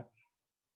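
A single tap on an empty water bottle, emptied by drinking all the water, gives a short, low hollow thud. A faint higher ring lingers briefly before fading within about a third of a second. Tapped empty, the container vibrates more and sounds more intense than when full.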